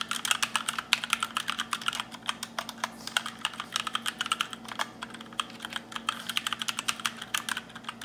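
Fingertips type continuously on a compact black RGB mechanical keyboard with plastic keycaps. It makes a rapid, uneven run of short, sharp, bright clacks with almost no ring. A faint steady low hum sits underneath.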